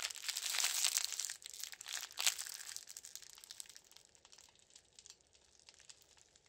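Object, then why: Thin plastic film bag. A thin, empty, transparent plastic film wrapping bag is crushed and crinkled into a ball between both hands in white knit gloves. A dense burst of bright, crackling crinkles comes first, then thins into softer, scattered crackles that fade as the bag settles.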